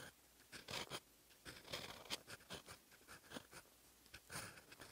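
A steel fountain pen nib writes in black ink on a lined paper notebook page, scratching the paper. Short, bright, dry scratchy strokes come in bursts with quiet gaps between them.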